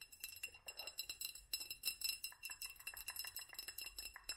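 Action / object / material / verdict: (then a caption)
tap / small glass jar / glass / none. A small hollow glass jar with a studded black band, held in both hands, is tapped and scratched with long fingernails. It produces a quick, uneven run of about thirty soft, bright clicks and clinks with high, glassy tones and almost no low end. Each tap dies away almost at once, with faint scratchy texture between the taps.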